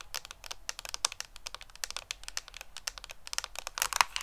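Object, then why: Cardboard makeup palette. Long painted fingernails rapidly tap a handheld, hollow, flat rectangular pink-orange Too Faced cardboard eyeshadow palette with an embossed peach pattern. The taps are a quick, uneven stream of crisp, dry, bright clicks that stop instantly, with very little low end.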